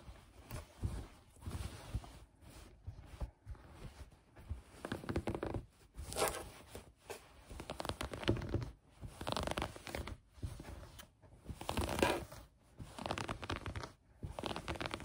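Long painted nails and fingertips scratch and rub soft green knit fabric lying bunched on a table. Quiet bursts of dry, scratchy rasping come in short strokes separated by brief silent pauses, some bursts brighter and louder than others.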